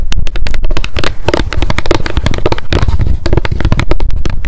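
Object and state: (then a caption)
Paper spiral memo notebook. Long decorated acrylic nails tap fast on a small pink m.memo spiral-bound paper notebook with a card cover, held in the hands. The result is a dense, continuous run of rapid taps with a deep, hollow low-end thump and short bright clicks, each tap dying away almost at once.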